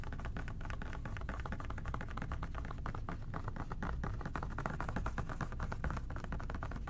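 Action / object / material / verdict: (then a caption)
tap / plastic spray cleaner bottle / plastic / none. Fingertips and short nails tap rapidly on a hollow plastic OxiClean spray bottle with a white trigger top, held in both hands. The result is a dense, steady patter of soft, hollow, low-heavy taps with light clicks, blurring into a continuous texture for the whole clip.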